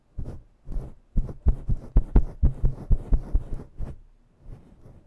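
Long nails grip and slowly scratch a fluffy faux-fur microphone windscreen, producing a series of muffled, deep thumping rubs. The dull, bassy pulses come in a loose, uneven rhythm, fading to softer rustles at the end.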